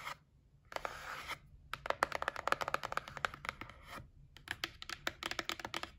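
A white printed cardboard gift box, held in the hand, is scratched and tapped with long nails. A brief rasping scratch gives way to a rapid series of short, dry, papery taps with a bright, hollow tone that die away almost instantly.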